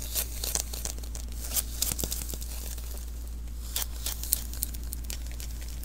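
Fingertips tap and pat the sticky surface of a small hollow lint roller refill, a roll of adhesive paper held in one hand, lifting off with tacky peels. Quick, bright crackling peels and soft sticky pats repeat irregularly over a steady low hum.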